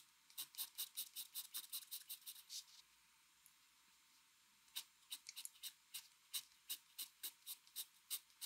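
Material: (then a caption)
Paper. A mechanical pencil scratches quick hatching strokes across a flat white drawing paper sheet, making a rapid series of short, bright, dry scratches with almost no low end. The strokes pause for about two seconds in the middle, then resume at a similar quick pace.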